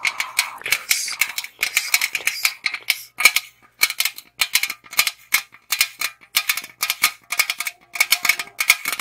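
Long acrylic nails tap and scratch the side of a tall, hollow aluminum Monster energy drink can held in both hands, its fill level not visible. Quick bursts of bright, clicky tapping and scratchy rustling come in clusters with a thin, tinny metallic ping near 2.3 kHz and no low end. Each tap dies almost instantly, leaving short gaps of near silence between bursts.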